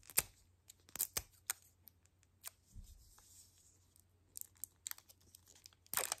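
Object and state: Plastic toy capsule ball scratched.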